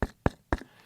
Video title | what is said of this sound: BATS SPREADING SEEDS!?!? WHO KNEW?? | it seems just like a coconut it's so thick and hard